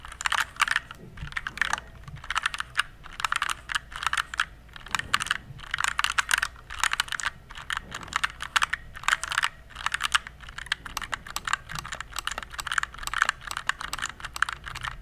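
Fingertips type on a compact RGB plastic mechanical keyboard, producing a steady stream of rapid, bright plastic clacks in bursts with brief pauses. Each keystroke is sharp and dies out almost instantly, centered around 1.3 kHz, over a faint low hum.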